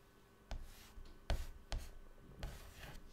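Fingertips drag a stick of white chalk across a flat black chalkboard panel lying on a table, drawing lines. Five short, quiet scratchy strokes sound out with soft, dull thumps and brief bright rasps, separated by faint hiss.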